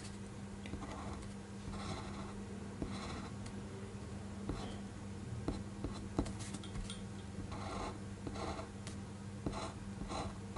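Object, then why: Fineliner pen on paper sheet. A black fineliner pen tip inks a flat white sheet of paper on a desk in short strokes, tracing over a pencil drawing. Soft, dry scratching bursts come and go over a steady low hum, with a few faint clicks along the way.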